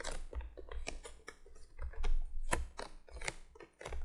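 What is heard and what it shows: Long fingernails on both hands tap quickly across the top of a printed cardboard box lying flat. The result is a rapid, uneven patter of short, dry clicks that die away almost at once, over a steady low hum.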